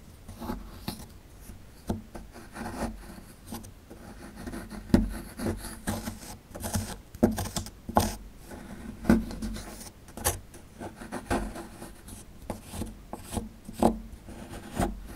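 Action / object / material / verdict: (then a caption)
scrape / plaster block scraped with a metal pick / plaster / none. A metal pick tool scrapes and digs at a small, solid plaster excavation block held in the hand. Irregular bursts of dry scratching and rasping come in quick, uneven strokes, with a dull mid-low tone and little brightness. The sound stays close and quiet between the sharper scrapes.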